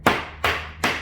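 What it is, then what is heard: Wet-layup carbon fiber panel that sounds like ordinary plastic. A wet-layup carbon fiber body panel, an imitation "dry carbon" part made with cheaper materials, is knocked three times. Each knock gives a short, bright tap with little low end and a quick decay. The panel sounds like ordinary plastic rather than true carbon fiber.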